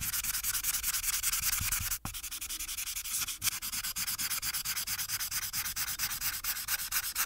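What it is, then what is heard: Marker on paper sheet. A felt marker tip is rubbed back and forth across a thin paper coloring sheet on a clipboard, near the sheet's top edge. The result is a fast, steady train of bright, dry scratchy strokes with little low end, broken by a brief pause around two seconds before the rubbing resumes.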